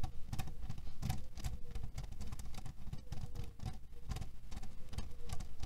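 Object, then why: Cotton pillow filled with cherry pits. A flat cotton canvas pillow filled with cherry pits and printed with cherries lies on a table and is scratched and tapped with the short fingernails and fingertips of both hands. The result is a steady, dense, low patter of muffled taps and rustling scratches, with quick bright clicks that die away almost instantly.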